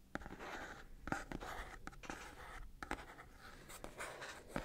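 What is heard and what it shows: Fingernails scratch along the surfaces of a small, hollow, red printed cardboard Sony product box held in one hand. The result is a steady, dry, papery scratching in the mids, broken by short, sharper scrapes. It stays fairly quiet throughout.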